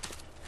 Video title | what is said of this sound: How to operate your woodstove more efficiently | if it sounds Hollow it's probably seasoned